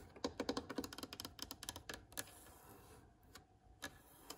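Long nails and fingertips tap and scratch the rough surface of an old, cracked, solid wooden plank or block with metal screw heads. A fast, irregular run of short, dry, clicky taps fills the first two seconds, then thins to a soft scratching hiss with a few isolated taps. Each tap stops almost instantly, with no ring.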